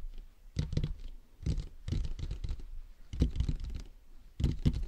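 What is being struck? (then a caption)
Plastic dummy head microphone shell. Fingertips tap the top and sides of a hollow, matte black plastic dummy head microphone's shell. The result is irregular clusters of dull, low, thumping taps mixed with soft scratchy brushing. Each burst is brief, with little ring.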